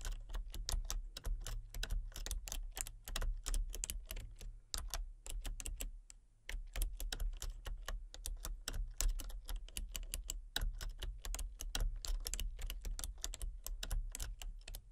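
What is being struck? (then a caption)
Plastic computer keyboard. Fingertips and long painted nails type rapidly on a full-size backlit plastic RGB computer keyboard with hollow key switches and colour-cycling lights. Dense, sharp clicky taps run through the clip, with a brief pause around six seconds, over a steady low hum.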